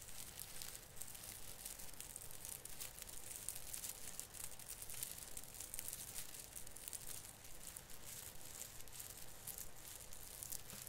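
A hand grips and rubs the plastic needles at the tip of a branch on an artificial Christmas fir tree. It makes a steady, quiet crinkling rustle of dense, bright crackles with a low rumble underneath, continuing for the whole clip.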